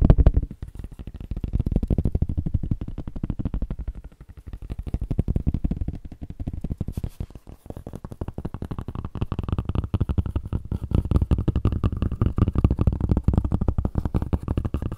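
A flat, dark grey fabric tablet sleeve, thin and possibly empty, is tapped and scratched with the fingertips. The result is a rapid, continuous stream of soft, dull, low thuds with a faint scratchy texture and no ring, swelling and easing in loudness throughout.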